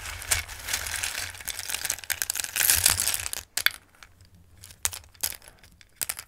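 Fingertips with long red nails rummage and shuffle through a dark bowl full of small, dry, Christmas-shaped durum pasta pieces in red, green and yellow. For the first three and a half seconds there is a dense, bright, crisp rattling and crinkling. It then thins out into sparse, sharp clicks and light clatters with near-silent gaps.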